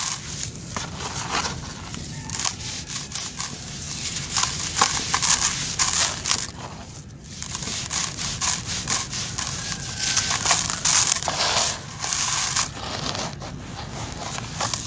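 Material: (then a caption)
Sand-cement. Bare hands dig, rub and crush handfuls of grey, grainy dry sand-cement mix, both loose grains and solid pressed balls, in a pink plastic basin. The result is a steady, bright stream of gritty crunching, crackling and scraping, with rustling grains and frequent sharper crumbling bursts throughout.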